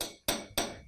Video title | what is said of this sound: Arte - 2.º e 3.º ano - aula 09 - 16/06 | se vocês baterem com o metal no vidro fica mais agudo ainda